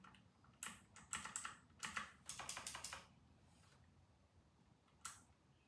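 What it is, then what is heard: Plastic mechanical keyboard being typed on. Fingertips of both hands type on a white and grey RK960 plastic mechanical keyboard with round plastic typewriter-style keycaps. Thirteen bright, sharp clacks come in an irregular burst over the first three seconds, then a quiet gap with faint background noise before one last keystroke.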